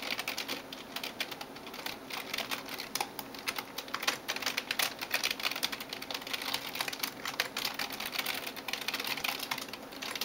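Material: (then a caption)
Plastic. Fingertips and nails type quickly on the keys of a backlit plastic gaming keyboard. A steady stream of rapid, bright, clicky taps with almost no low end, each dying away almost at once.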